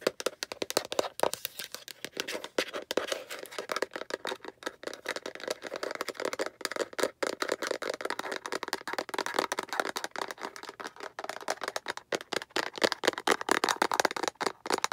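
Long nails rapidly tap the rounded end of a hollow yellow-green plastic egg capsule with a visible seam and scratch along its side, close up. Dense, fast, dry clicks and scraping rattles run continuously, with a hollow plastic tone centered around 800 Hz, bright texture and no low end.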